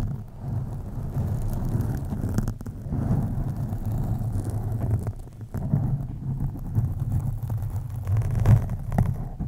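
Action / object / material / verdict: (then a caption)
scrape / foam microphone windscreen scratched with fingernails / foam / none. Long acrylic nails on both hands slowly and deeply scratch a black foam windscreen on a USB microphone. The result is a continuous, muffled low rumble with no bright edge, briefly dipping a few times as the strokes change.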